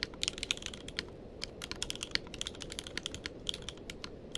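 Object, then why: Mechanical keyboard with plastic keycaps. Fingertips of both hands type continuously on a tenkeyless mechanical keyboard with plastic keycaps. The result is a rapid, uneven stream of short, bright clacks that stop almost instantly, over a steady low background hiss.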